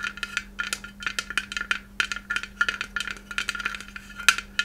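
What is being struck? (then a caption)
Small hollow glass Christmas ornament. A small white hollow glass Christmas ornament shaped like a takeout box is held close and tapped rapidly with long red nails. The result is a fast, irregular run of short, bright clicks and ticks that ring around 1.4 kHz. A steady low hum sits underneath.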